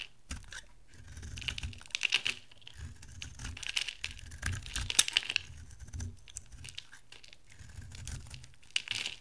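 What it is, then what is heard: Dry bar soap being shaved. A palm-sized oval bar of dry soap with a green core and dark blue rim is held in the hand and shaved into curling flakes with a metal utility knife blade. Each stroke gives a crisp, bright scraping crackle that rises in bursts and stops short, with no ring afterward. A faint low hum stays steady underneath.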